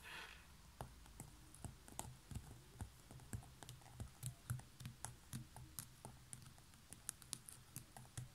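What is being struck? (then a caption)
Woven seagrass basket lid. Long natural nails tap quickly across a large, hollow, light coiled woven straw (seagrass) basket lid with a knob top. The result is a quick, uneven run of about two dozen short, dry, bright clicks that die away almost instantly, over a steady low hum.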